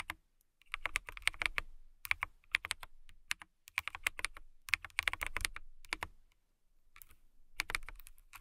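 Long nails type on a clear acrylic mechanical keyboard with a transparent acrylic case and clear keycaps. Bright, crisp clicks come in quick bursts separated by short pauses, each tap dry and gone almost instantly, with a soft low thud beneath. The typing trails off quieter near the end.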